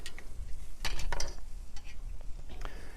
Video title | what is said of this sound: Barton Seaver - Seafood on the Grill | you can hear it it's so crispy